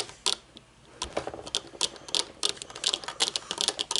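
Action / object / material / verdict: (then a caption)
tap / metal-frame sunglasses with dark lenses / metal, plastic / none. Long painted nails tap quickly on the dark lenses and metal frame of folded metal-frame sunglasses resting on a wooden table. About twenty sharp, bright clicks come in an uneven, rapid patter. Each is dry and dies almost instantly, with almost no low end.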